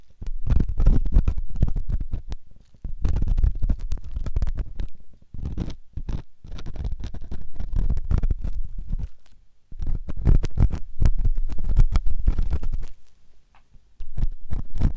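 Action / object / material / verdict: scrape / silicone microphone ear scraped with a metal ear pick / silicone / none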